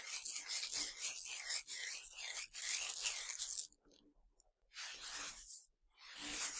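A pile of tiny hard Nerds sugar candies on a black surface is scooped, rubbed and sifted between fingers and palms by both hands. A dense, bright crunching and rattling of the grains runs steadily for nearly four seconds, then comes a brief near-quiet with faint ticks. Two shorter bursts of the same gritty rustle follow.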